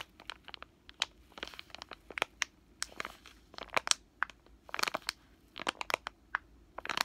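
A full, soft plastic wet wipes pack is squeezed, crushed and crinkled with fingers and short nails. It makes a rapid string of sharp, dry crackles and crunches that are bright and crisp, with almost no low end. Each crinkle snaps off quickly over a faint, quiet background.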